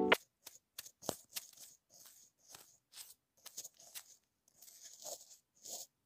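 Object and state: Plastic earphone inline remote, brushed and tapped.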